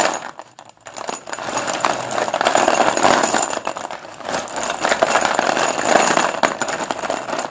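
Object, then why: Chalk sticks in a plastic bowl. Hands push, rake and scoop a heap of solid Sundeep dustless pure white chalk sticks in a blue plastic bowl, so the sticks clack against each other. A dense, irregular clatter of short, dry, bright clicks builds after a brief quiet pause near the start and continues steadily with loudness swells as the sticks are stirred.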